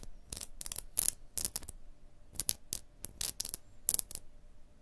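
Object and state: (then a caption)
Limestone block wall, tapped and scratched. A fingertip and a long blue nail tap and scratch across a limestone block wall with a crack and a mortar joint. About fifteen short, dry, bright taps and scratchy strokes come in irregular bursts, each dying away almost instantly, over a faint low background hum.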